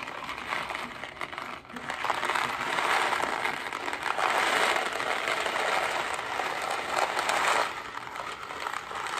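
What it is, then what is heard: Cardboard box of dry pasta. A hollow Kraft mac & cheese cardboard box holding dry pasta is held in one hand and shaken and tapped with fingertips and nails. The result is a dense, continuous rattling and crinkling with bright mid-to-high texture and almost no low end. It dips briefly near the start, then swells louder through the middle before easing off near the end.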